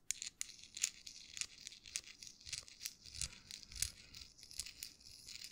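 A small folded US dollar bill of thin paper is crinkled and twisted between fingertips close to the microphone. Quiet, dry, crisp crackles and rustles come in quick bursts, almost all bright, high hiss with very little low end, and each snap dies away instantly.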